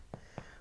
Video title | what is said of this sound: Garlic & Herb Dutch Oven Bread - KitchenAid Stand Mixer | when you tap on it you get that Hollow sound